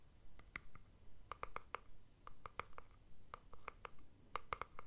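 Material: Plastic.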